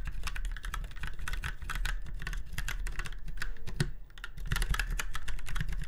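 A typewriter-style retro mechanical keyboard with round white keycaps in chrome-look rings on a silver frame is typed on rapidly with the fingertips of both hands. A fast, steady stream of sharp, clicky keystrokes pauses briefly near the four-second mark before the typing resumes.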